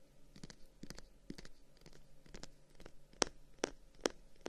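A closed Chinese folding fan, a solid bundle about 25 cm long with dark wooden guard sticks and a pale paper or slat edge, is held in one hand and tapped and scratched along its wooden guard with short fingernails and fingertips. Quiet, dry scratches and soft taps come in an uneven rhythm, each dying away instantly with no ring. The last three taps are noticeably louder and brighter, giving crisp wooden clicks.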